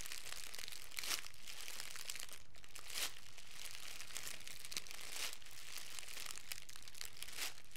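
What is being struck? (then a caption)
Thin plastic cellophane wrap. Thin, clear cellophane plastic wrap, crumpled into a hand-sized bundle, is squeezed and crinkled by the fingertips of both hands. A steady, bright crackling texture runs throughout, with louder bursts of crinkling recurring every couple of seconds.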